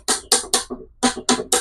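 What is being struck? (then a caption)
Petrified wood rock. A heavy, wood-textured rock that was found and just washed is knocked in a series of sharp, bright, clacking hits, each decaying quickly. Although it looks like wood, it does not sound like wood, so it is judged to be stone: petrified wood or possibly a space rock.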